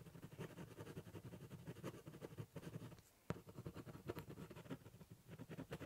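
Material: Cardboard.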